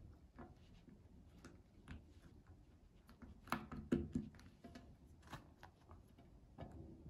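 A child presses the hollow bubbles of a round pink silicone pop-it fidget toy with her fingertips. Soft, short, muffled pops come at an uneven pace, with a couple of louder pops near the middle and quick decays between them.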